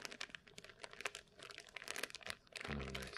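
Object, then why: Clear plastic blister package with cardboard card. A small clear plastic hanging-retail blister package with a printed white cardboard header card and a dark item inside is held in both hands in front of the chest while the fingertips squeeze and press the plastic. This produces a steady stream of quick, bright crinkling and crackling snaps. Near the end, a low, voice-like hum rises beneath the crinkles.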